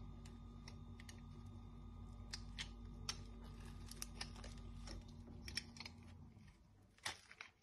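A partly carved, dry pink Dettol soap bar is held in hand and shaved with a metal knife blade, and crisp chips pile up beside it. Sharp, bright, dry crackling snaps and scrapes come in quick bursts over a low, steady hum, which fades out near the end, leaving a few final louder crunches.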